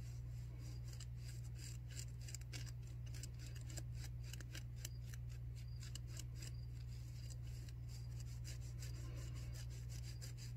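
A white, disposable, pleated non-woven paper surgical face mask worn on the face is scratched with long nails and fingertips. Quiet, dry, papery rasps and scrapes flicker across the high range over a constant low hum that stays steady throughout.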